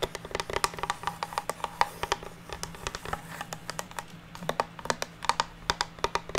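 Long natural nails tap and scratch across the surface of a flat, solid, unfinished pine wooden plank resting on a table. The result is a rapid, uneven series of short, dry clicks with a woody knock around 900 Hz and bright edges. Each tap dies away almost instantly, with faint scratching and a low steady hum underneath.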